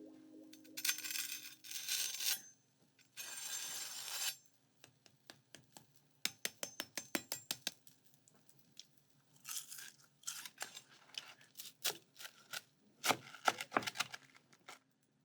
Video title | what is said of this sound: The Secret Budget Ingredient in These Recipes is...checks notes...Mayonnaise??? | Listen to how crispy the mayo made our bread.